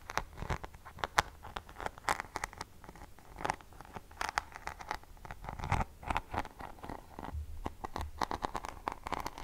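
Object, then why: Rhinestone-studded hairbrush back. Long fingernails scratch the rhinestone back of a rhinestone- and pearl-studded paddle hairbrush with a silver handle, held in one hand close to the microphone. A rapid, irregular series of short, crisp scratching clicks and crackles comes in uneven bursts, with no ringing after each stroke.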